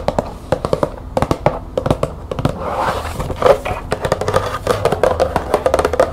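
A small printed cardboard green tea box, held in the hands, is tapped and scratched with long nails. Quick, dry, hollow clicks come in bursts and die away almost instantly. They alternate with softer stretches of raspy scratching across the box's surface.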